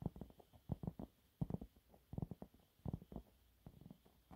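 Medium-length fingernails scratch a thin, flat, yellow textured cellulose sponge cloth held up in both hands. The quiet, low, muffled scratches come in short, dry bursts grouped into irregular clusters with brief pauses between them.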